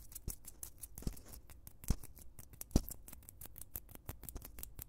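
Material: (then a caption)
Foam. Two white foam blocks, solid and soft, are held in both hands next to a microphone and squeezed, rubbed and scratched with the fingertips. The result is a quiet, dense run of short crackling scratches with low, soft thuds underneath, the contacts coming close together and unevenly paced.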